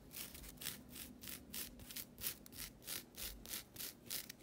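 A flat, thin, solid green nylon scouring pad is rubbed and scratched with long nails and fingertips. The result is a quick, fairly steady run of bright, rasping scratch strokes with a faint low hum underneath.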